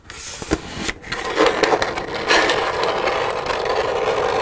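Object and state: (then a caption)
Empty plastic milk jug. Long red nails tap and scratch on an empty, hollow white plastic milk jug resting on a wooden table, the hands shifting position as they go. Sharp clicking taps come first, then the sound settles into a steady, bright scratching rasp centered in the mid range.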